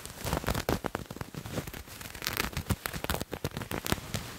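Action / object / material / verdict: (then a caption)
scrape / patterned cloth garment / fabric / none. Fingernails scratch a purple paisley patterned fabric garment held in the other hand. A dense run of quick, dry, crackling scratches with sharp bursts and a soft low rustle beneath, stopping and starting irregularly.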